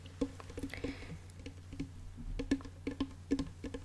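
Fingertips tap and knock on the wooden body of a small ukulele that looks more like a toy than an instrument. A quiet, irregular series of short, hollow wooden knocks with a low tone near 270 Hz dies away almost instantly after each tap.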